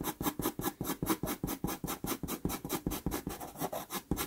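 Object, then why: Pastel pencil on sanded pastel paper. A wooden-cased dark pastel pencil, held in the fingers, makes rapid scratching strokes on a small 4.5 inch square of sanded Pastelmat paper, a solid thin sheet taped flat to a board, while shading an eye outline. About 20 short, dry scratches come in a quick, somewhat uneven rhythm, each a bright, gritty rasp with no ring after it.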